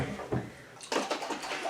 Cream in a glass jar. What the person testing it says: you can hear it sloshing around